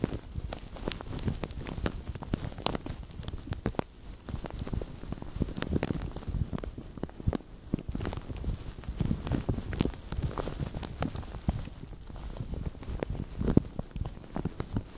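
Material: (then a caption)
Plastic. Fingertips with medium-length nails squeeze and crinkle a translucent thin plastic bag stretched over a microphone. The result is a steady, dense crackle of sharp, dry snaps and pops over a heavy low-end rumble. It continues without pause for the whole clip.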